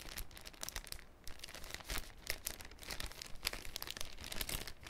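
A thin, clear cellophane sheet folded into a cone is flexed in the hands, producing quiet, dense, irregular crinkling and crackling. Bright, sharp snaps rise above a soft low rustle throughout.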